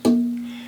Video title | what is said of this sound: Choosing Sides | there's good sustain in this